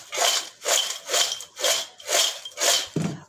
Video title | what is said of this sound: बाजार जैसे चिप्स घर पर मिनटों में ना उबालने की जरूरत ना सुखाने की झंझट आलू चिप्स बनाने का आसान तरीका | आवाज से पता चल जाएगा कि कितने क्रिस्पी हैं